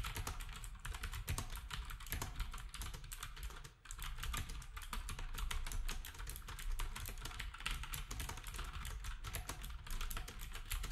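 Fingertips of both hands type steadily on a black compact wireless plastic typewriter-style keyboard with round plastic keycaps and a hollow housing, while an RGB keyboard and numpad sit nearby untouched. A rapid, continuous stream of clacking keystrokes carries a hollow, low-heavy thump under bright, crisp clicks, with a brief lull near the four-second mark before the typing resumes just as densely.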